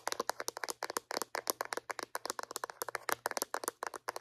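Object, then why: Small hollow plastic floss dispenser. A small white hollow plastic Reach dental floss dispenser is turned in the hands and tapped on its sides and lid with long painted acrylic nails. About thirty quick, dry, clicky taps come in an irregular stream, each short and bright with almost no ring.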